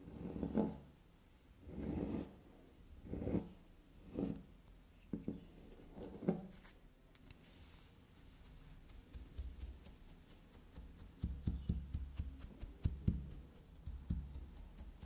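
Long black nails lightly scratch and tap a small, solid carved bar of black soap. Soft, low rubbing swells come and go at first, then give way to quicker, light clicking taps with brief, dull onsets and almost no ring.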